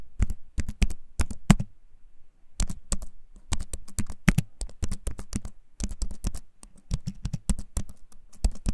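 A compact keyboard with a wooden frame and plastic keys is held up close and typed on with the fingertips. Clicky keycaps give short, dry taps with a deep thud, coming in quick bursts separated by brief pauses.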